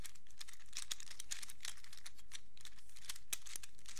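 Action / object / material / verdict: tap / hinged plastic fidget cube / plastic / none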